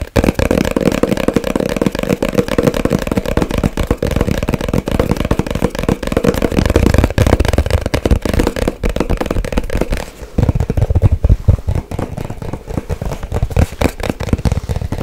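Long white nails rapidly tap and scratch a small, hollow white cardboard box, making a dense stream of fast, dull, boomy taps mixed with scratchy rustling. The tapping runs almost without pause, dips briefly about two-thirds of the way through, then resumes slightly softer.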